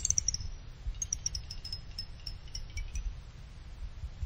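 Fingers with a small pick pluck the thin side fins of a small finned aluminum CPU cooler heatsink, making them ring like chimes. Quick, bright, high metallic pings follow one another, each fading almost at once, over a low, steady rumble.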